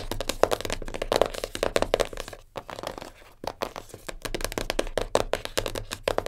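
Long nails rapidly tap and scratch a small black printed cardboard jigsaw puzzle box lying flat. The result is a fast stream of dry, hollow clicks with a papery, crackling scrape. The sound dips briefly quieter around the middle before the quick tapping picks back up.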